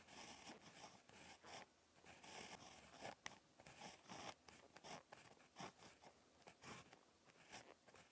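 A ballpoint pen tip scratches across a lined spiral notebook page while handwriting a poem. Quiet, bright, papery scratching comes in short, irregular strokes separated by brief pauses, with occasional sharper ticks as the pen lifts and lands again.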